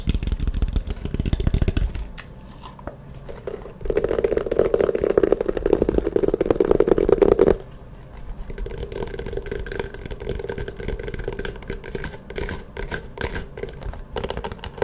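Long nails scratch and tap a closed, hollow, map-print faux leather hard-shell glasses case held close. The result is a dense, rapid scratching and clicking with a hollow tone near 390 Hz, low thumps at the start, and a louder, fuller stretch of scratching in the middle before it settles to a softer, steady rasp.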